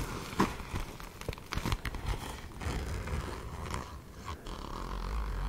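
Long nails scratch the glitter surface of a soft-sided, hollow fuchsia glitter fabric zip cosmetic pouch, possibly with some zipper handling. The result is a quiet, mostly low scratching and rustling texture with short crackly strokes and a brief louder scrape near the start.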